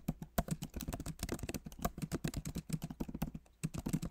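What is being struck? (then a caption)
Laptop keyboard with plastic keycaps in a metal body. Both hands type rapidly with their fingertips on the plastic keycaps of a backlit MacBook Pro Magic Keyboard set in an aluminum body. The result is a dense, uneven stream of soft, dull key taps, heavy in the low end, each dying away almost instantly, with brief pauses between bursts.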